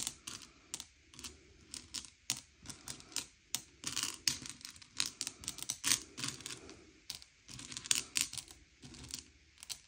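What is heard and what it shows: Fingertips slide and push a pile of small, hard, sugar-shelled M&M's candy-coated chocolates around a grey plate, sorting them by colour. Dozens of quick, bright clicks and clattering ticks sound as the shells knock together and skid on the plate, each dying away almost instantly, with soft scraping between them.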